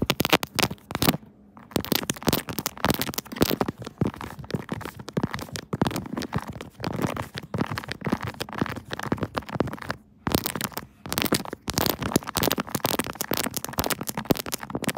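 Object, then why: Silicone phone case on a smartphone. Long nails tap fast and scratch all over a pink 3D silicone Kirby phone case on a smartphone, including its keys. Dense, dry clicks and soft scraping crackle steadily with almost no ring, broken by brief pauses near the start and around the ten-second mark.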